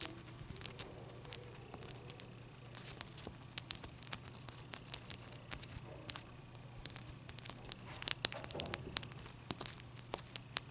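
Long dark nails scratch and tap the faces of a large, clear, solid ice block held close up. Many sharp, bright clicks and taps come through, with scratchy, crackling rasps in between, all over a faint steady low hum. Each tap dies away almost at once, leaving a quiet, dry, close-up sound.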